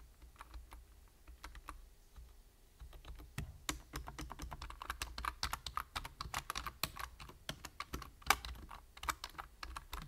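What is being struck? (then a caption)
Plastic computer keyboard. Fingertips type slowly on a full-size black plastic computer keyboard, producing short, dry plastic clicks with a bright edge. The tapping is sparse and quiet at first, then becomes denser and louder after a few seconds, over a faint steady low hum.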